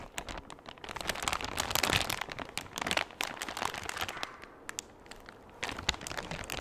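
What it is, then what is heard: Thin plastic bag crinkled. A large, empty, thin clear plastic bag is held close in front of the mic and crinkled and squeezed with the fingers. It gives a dense, bright crackling with sharp snapping pops, loudest in the first half before thinning to softer rustles and then picking up again near the end.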